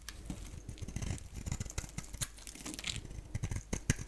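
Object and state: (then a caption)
Bar soap being shaved. A palm-sized, solid oval bar of dry soap, black on the outside and yellow inside, is held in one hand and shaved and scraped with a box-cutter blade, producing curls and crumbles. The result is a steady run of dry, crackly scraping with many quick, sharp crunches and crumbling ticks, mostly low and dull with bright edges on the harder scrapes.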